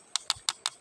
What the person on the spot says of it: Nah, lihat ini bunyinya biasa.